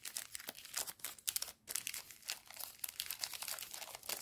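A small pink plastic-film candy bar wrapper, held in both hands with fingertips and painted nails, is crinkled and rubbed, then torn open, while a pile of other sweets lies nearby. Dense, bright crackling bursts fill the clip, with a brief quiet gap near the middle. There is no low-frequency content.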